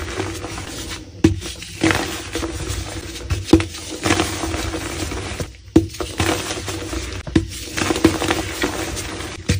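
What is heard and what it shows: Gloved hands squeeze and crush a soft, solid, powdery, palm-sized block of black-dyed gym chalk (calcium carbonate), with more blocks stacked behind. Sharp, dry crunches and crackles repeat at uneven intervals over a continuous gritty crumbling texture and a faint steady low hum. The block crumbles into dusty chunks.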